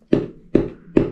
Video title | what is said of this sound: Ulefone Armor 24 Unboxing & Initial Thoughts On Build Quality. Ultimate Biker Travel Phone ? | it felt very, very, very tough and hard. Listen to this. This thing is rock hard.